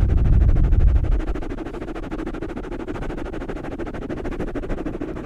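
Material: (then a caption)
Foam. Fingertips of both hands scratch and rub soft, porous black foam microphone covers, producing a dense, muffled scratching. A heavy low rumble dominates the first second, then eases into a steady, rapid rustle of about four strokes per second with very little high-end content.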